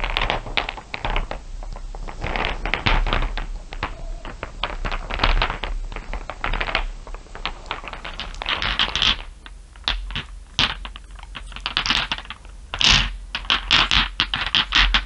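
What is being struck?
Small glass marbles tapped with fingernails.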